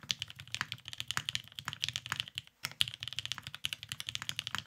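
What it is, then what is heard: Mechanical keyboard with plastic keycaps. Both hands type continuously with their fingertips on a beige tenkeyless Cerakoted Salamander mechanical keyboard with lubed Vintage Black switches and plastic keycaps, resting on a desk mat. About 37 short, dry clacks sound in a rapid stream, each bright and centered near 3.1 kHz with almost no ring and little low end. There is a brief pause just before the 3-second mark.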